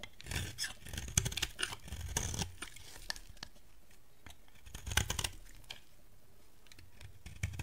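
A yellow bar of dry soap is held in the hand and carved and scraped with a metal box-cutter blade. Crisp, bright scraping and crunchy rasping bursts come with dull low thuds, loudest early on and again near the five-second mark. Quieter, lighter scratches fill the stretches in between.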